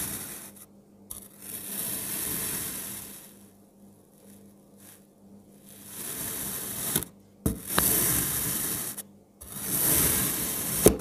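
A palm-sized solid blue kinetic sand block is cut into thin slices with a speckled pink ceramic-look knife. Each pass gives a soft, granular crunch with a bright, hissy texture, rising and fading in slow swells separated by brief quiet gaps.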